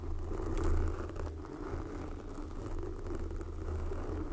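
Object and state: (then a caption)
Foam microphone windscreen being scratched. Long glossy black fingernails of both hands scratch and tap a soft, porous red foam windscreen covering a microphone. The result is a continuous, muffled, low-heavy rustling and rumbling with soft crinkly scratches and little high-end content, swelling slightly early on and then holding steady.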